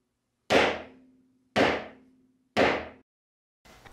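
A homemade wooden dead-blow mallet, with fluid-filled brass chambers holding suspended weights, is dropped to show its one-directional, non-rebounding behaviour. Four sharp, dull thuds land about a second apart, each fading quickly with a faint low ring, and the last is quieter and cut short. The mallet works as intended, sounding dead rather than bouncing.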